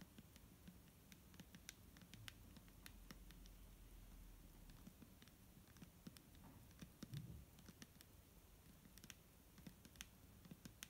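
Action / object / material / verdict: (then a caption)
tap / plastic bottle filled with liquid / plastic / none. A clear plastic micellar water bottle filled with liquid is tapped with fingernails. Quick, light clicks patter irregularly over a low hum, each dying out almost at once.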